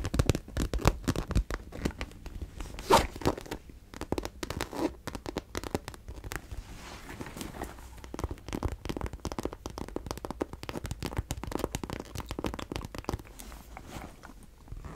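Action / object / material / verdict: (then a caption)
scrape / coated-fabric cosmetic bag / coated fabric / none. Long dark-painted nails scratch and rub the surface of a hollow, medium pink coated-fabric vanity case with red trim and a handle, held up in both hands. A dense, continuous stream of dry, crinkly scratches and rasping rubs, some sounding like tearing, runs steadily throughout with a low, hollow body beneath. The strokes come in quick, closely packed bursts with a few louder peaks early on.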